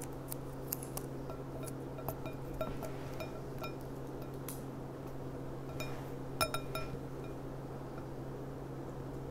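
Long nails tap the thin bowl of a clear, empty, gold-rimmed glass goblet lying on its side, making a series of light, sharp clinks with a brief ring around 1.4 kHz. The taps are scattered over a steady low hum, with a louder quick cluster near the end.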